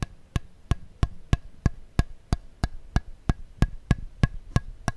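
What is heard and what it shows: Fingertips tap a thin, clear, thermoformed plastic insert tray that is empty and hollow and held in the hands, flexing and scratching it. The clip gives 16 short, dry, hollow taps at a steady pace of about three per second. Each tap is a low thump with a bright click and almost no ring, with faint scratching between the taps.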